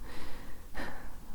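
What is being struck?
Nothing is struck.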